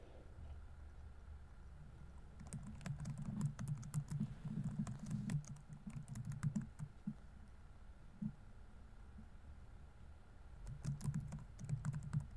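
Fingertips rapidly tap the plastic keys of a laptop keyboard on a grey laptop body while typing. Fast, irregular bursts of soft clicky taps run from about 2.5 to 7 seconds, a lone tap follows near 8 seconds, and another quick burst comes near the end. Each tap has a short, dull thud with a bright tick over a quiet low hum.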